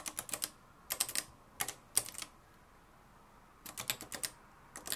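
Fingertips type on the dark plastic keys of a mustard-yellow, plastic-cased manual typewriter with a metal mechanism. About twenty sharp, bright, clacky keystrokes come in quick bursts of several at a time, separated by short quiet pauses. Each strike is dry and stops almost immediately.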